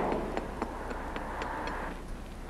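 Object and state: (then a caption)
Solid concrete bridge deck. A steel bar taps repeatedly on a concrete bridge deck, working outward from a hole over a steady low background hum. The taps give a solid sound rather than a hollow one, marking good concrete where the repair limits are set.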